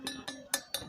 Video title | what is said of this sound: cara pilih sabit yang bagus | dipukul-pukul kalau suara nyaring Ting Ting